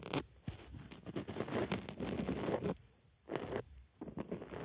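A white foam makeup sponge rests on a microphone ear while a wooden stick scratches inside the hole in the foam. Dense, crackly rubbing and scratching comes in bursts, with quieter pauses near the middle and end.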